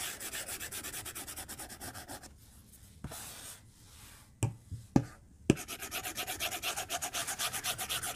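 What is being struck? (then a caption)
Plastic stylus on a glass tablet touchscreen. A white plastic stylus rubs in dense coloring strokes across a glass tablet touchscreen in a white case, making fast, rhythmic, bright scratchy swishes. The strokes pause for a quieter stretch of soft hiss broken by three sharp taps, then the steady scribbling resumes.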